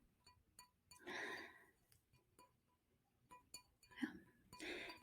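Light, sharp clinks and taps on a glass wineglass holding tea, with short rings that die away almost at once. Between the taps come two longer, soft, breathy swells of broadband noise. The sound is quiet and close, with a faint bright ring near 1 kHz.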